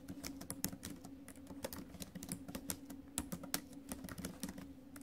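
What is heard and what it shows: Fingertips and acrylic nails type fast on the plastic keys of a silver metal laptop keyboard, making a rapid run of short, sharp clicks and taps with bright edges. A steady low hum sits beneath the clatter throughout.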